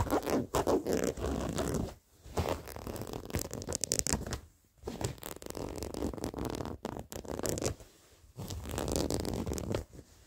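Short fingernails scratch along worn blue denim jeans with stitched seams and frayed edges, making rough, raspy scraping bursts separated by brief silent pauses. The close, dry scratching has a broad texture from low rumble to bright fabric hiss.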